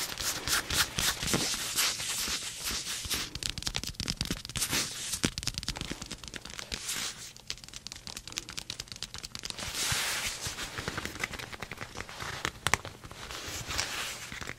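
Long painted nails and fingertips scratch and rub the soft, hollow sleeve of a maroon leather blazer held close, producing dense, bright crackling and crinkling scrapes. The strokes come in fast, irregular bursts at a quiet level, with a faint low hum underneath.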